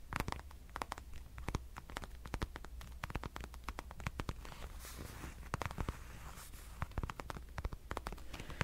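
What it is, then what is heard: Patent leather wallet. A dark red glossy patent leather wallet is scratched and tapped with fingernails, producing dense, rapid clicks and dry scratching over a steady low hum. The taps are sharp and very short, with brief bursts of brighter scraping in between.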